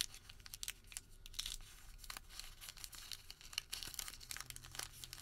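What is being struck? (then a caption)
Twisted thermal paper receipt. Fingertips twist, pinch and crinkle a Home Depot thermal paper receipt twisted into a rope. The result is a quiet run of bright, crisp crackles and papery rustles with very short, dry ticks and a faint low hum underneath.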